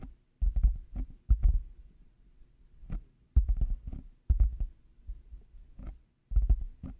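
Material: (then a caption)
Plastic. Fingertips and nails slowly tap and scratch black, hollow plastic over-ear headphone earcups fitted on a 3Dio binaural mic. The taps land as deep, muffled, boomy thumps with faint brighter clicks on top. They come in irregular clusters separated by quiet gaps.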